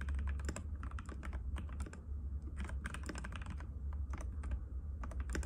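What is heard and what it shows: Fingertips of both hands type rapidly and continuously on a compact cream-white mechanical keyboard with plastic keycaps and a hollow case, resting on a glass table. The keys give a dense run of short, clicky taps with bright edges over a steady low hum, each hit dying away almost at once.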